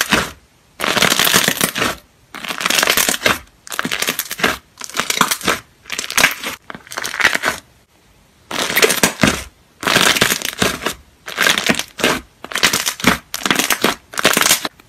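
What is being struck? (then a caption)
Glossy slime. Fingers and a hand press, squeeze and poke a large mound of soft, white glossy slime on a white surface. The result is bursts of loud, crackling air-bubble pops. They come in about a dozen separate runs with short pauses between them, bright and crisp with little low end.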